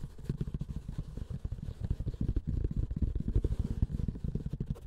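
Fingers and short nails scratch and tap across the textured grey woven fabric of a closed, hollow hard-shell keyboard carrying case. The result is a dense run of low, muffled taps and scuffs with a deep hollow thud and almost no high end, each sound dying away at once.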